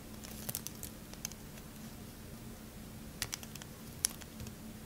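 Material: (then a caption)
Soap. A metal knife blade shaves along the faces of a solid, faceted, pale green bar of soap held in the hand. The result is soft, irregular scraping and crisp, bright ticks and crackles over a low, steady hum, with a few sharper clicks standing out.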